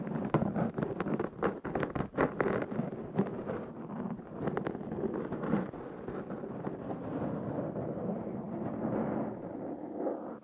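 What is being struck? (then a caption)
Foam microphone windscreen. Fingernails of both hands scratch a black foam windscreen on a Zoom H6 recorder. A dense, muffled rasp fills the mid and low range, with sharp crackling taps in the first few seconds. It then settles into a steadier rustling scrape that fades at the end.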